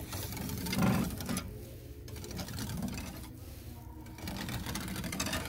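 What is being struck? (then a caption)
Wooden slatted louver panel. Fingertips rake and scratch quickly across a light wooden louver panel with many thin parallel slats, like a shutter or cabinet door, in a store. The result is a fast, rattling buzz with a low hum near 190 Hz. Brief lulls around 1.5–2 seconds and 3.3–4.2 seconds soften the bright edge before the raking picks up again.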